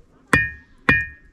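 Two sharp strikes on a rock boulder beside the trail from Harishchandragad to Kokankada give off a slightly metal-like ring, with a clear tone near 1.8 kHz that fades within about half a second after each hit. This stone sounds unlike a look-alike stone nearby, which sounds normal.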